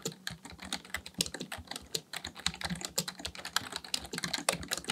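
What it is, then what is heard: Plastic membrane keyboard being typed on. Fingertips of both hands type continuously on a black plastic full-size Dell KB1421 membrane keyboard with a hollow housing, resting on a desk, pressing and tapping the keys. A rapid, uneven stream of short, bright plastic clacks and taps is heard, each dying away almost instantly with a faint hollow low thump beneath.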